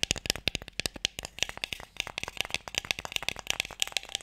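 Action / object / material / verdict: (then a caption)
tap / closed wooden box with sticks inside / wood / none. Fingertips and nails tap quickly on a closed, light wooden Mikado box that is hollow with sticks inside. A rapid, uneven run of short, dry, bright clicks, centered around 2.7 kHz with very little low end, dies away almost instantly after each tap.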